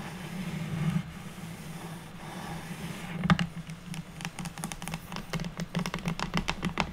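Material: Wood.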